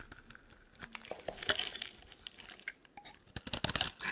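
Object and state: Dry soap bar being carved.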